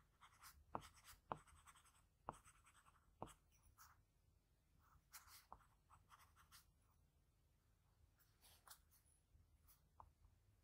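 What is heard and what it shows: A pencil held by the fingertips makes small scratching strokes across a sheet of drawing paper. Soft, papery scratches come in irregular bursts with bright hiss, broken by a few sharp little ticks as the tip catches the surface, all at a quiet, close level.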